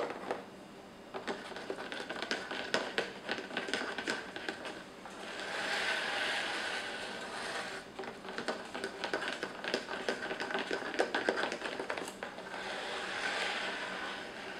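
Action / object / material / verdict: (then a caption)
tap / cardboard puzzle box with pieces inside / cardboard / none. Fingertips tap and scratch at the lid of a closed, medium rectangular cardboard puzzle box with a puppy picture on it, apparently full of pieces, held by its edges in both hands on a wooden table. Quick, irregular dry clicks and taps with almost no ring alternate with two longer, softer stretches of steady scratchy rustling.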